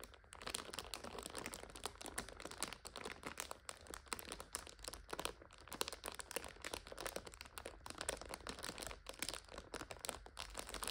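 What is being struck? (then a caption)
Plastic-wrapped instant noodle multipack. Long nails tap and scratch the clear plastic overwrap of a full purple instant noodle 5-pack. The result is a dense, continuous stream of quick, dry crinkles and clicks that are bright and papery, with little low end and no ring after each tap.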